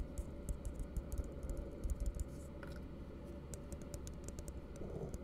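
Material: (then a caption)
Plastic. An empty, hollow blue plastic tumbler held upside down is tapped with the fingertips in a quick, uneven series of light taps. Each tap is a short, dry click with a bright edge that dies away almost instantly, heard over a steady low rumble.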